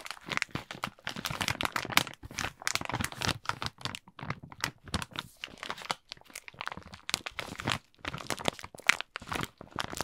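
A plastic Kinder Schoko-Bons bag filled with wrapped chocolates is held in both hands and squeezed and crinkled with the fingers. Dense, bright crackling and crunching come in bursts with brief pauses between them throughout.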